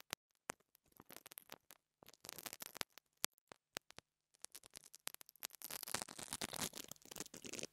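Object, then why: Small wire-bristle brush on a metal microphone grille. A pink interdental brush with wire bristles brushes and scratches the metal grille top of a small black plastic mini lavalier microphone held in the fingers. Quick, bright scratchy strokes come in short, separate bursts at first, then build into a dense, continuous rasping toward the end.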